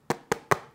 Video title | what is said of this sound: ASUS Zenbook S16 (UM5606) İncelemesi - Seramik Kasa & AMD Ryzen AI İşlemci | Bakın bu Ses Plastik sesi değil Çünkü burada alüminyum ve aynı zamanda gariptir seramik bir kasa var